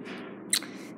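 A ceramic tip on a white cane taps once against concrete, giving a short, bright click that dies away almost at once over a faint steady background. The tip sounds like a regular cane tip, not metallic.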